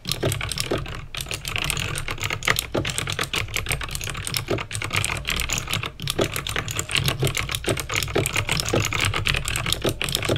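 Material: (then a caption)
Plastic. Fingertips with painted nails type fast on a backlit plastic mechanical keyboard with clicky green switches. The result is a dense, continuous stream of sharp, bright clicks over a steady low hum.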